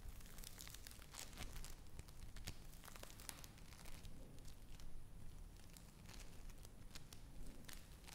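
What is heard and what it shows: Yellow foam bead play foam is squeezed and crushed in the hand and pulled apart with the fingers. Dense, quiet crinkling and crackling with many small bright pops rides over a steady low rumble.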